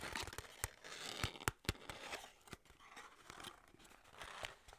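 Long nails and fingertips tap, scratch and grip the sides of a small, hollow, printed white-and-red skincare paperboard box that likely holds a tube. Sharp, dry clicks land at an irregular pace over a bright, scratchy crinkle and rustle. Softer gripping sounds fill the gaps between taps.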